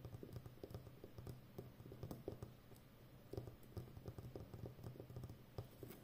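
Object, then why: Plastic packing tape roll on cardboard core. Long nails tap and scratch the rim of a full roll of brown plastic packing tape wound on a cardboard core with a hollow center. The result is a quiet, irregular patter of soft, dull taps with a low, muffled body, each dying away almost at once, mixed with faint scratchy brushing between them.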